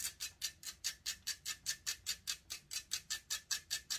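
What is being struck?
Metal mesh microphone grille.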